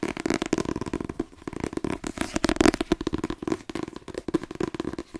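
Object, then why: Paperback book with card cover. Fingertips tap rapidly on the glossy card cover of a held-up paperback novel, *The Twins*, with its solid paper block, and grip it. The result is a fast, uneven patter of short, dry, papery knocks with a mellow low-mid body and almost no ring. Brief pauses break up the run.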